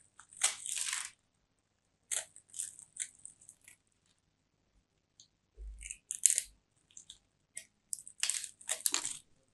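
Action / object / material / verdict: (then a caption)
scrape / bar of soap / soap / none. A small solid bar of soap with turquoise and white stripes, held in both hands, is scraped and carved with a small metal blade so that crumbly shavings crunch off its edge. Dry, bright crunching and scraping comes in short bursts separated by brief silences, with almost no low end and no ring after each stroke.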